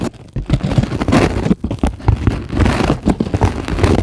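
Long glittery acrylic nails on both hands scratch and tap a flat, solid, white closed-cell polyethylene foam sheet. The result is a dense, continuous run of soft, low, crackly scratches and quick muffled taps with little brightness.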